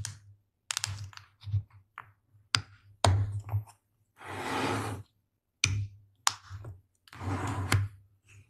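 Fingertips and long blue-painted nails tap and scratch the clip-lock lid and sides of a small, round, hollow light-blue plastic food container. Sharp, bright clicks alternate with longer rasping scratch bursts over a steady low hum. The taps have a short, hollow ring.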